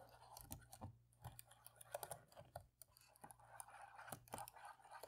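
A cotton swab scratches and rubs between the black plastic keys in the middle rows of a dirty laptop keyboard as it is cleaned. The result is a quiet run of dry, quick scratches and light ticks with no ring, over a faint steady low hum.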